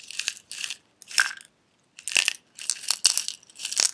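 A small clear glass jar with a silver metal lid, holding loose red pieces, is held sideways, tilted and tapped with fingernails so the contents rattle. Short bursts of bright, crunchy rattling come in quick succession with brief silent gaps, all high-pitched with no low end and almost no ring after each burst.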